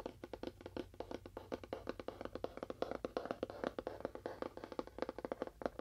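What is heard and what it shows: Fingernails tap rapidly on a small, hollow, apparently empty rectangular cardboard box with a faux wood-grain print and a sticker on one end, close to a binaural microphone. More than forty quick, dry clicks sound in steady bursts, each with a resonant, wood-block-like tone around 540 Hz that dies away almost instantly.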